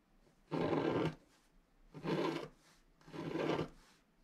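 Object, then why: Black-coated paper scratch art card scratched with a wooden stylus. A wooden stylus scratches lines into the black coating of a flat scratch art card made of paper board. Three separate rough, raspy strokes of about half a second each are heard, with grainy texture concentrated in the low-mids and quiet pauses between them.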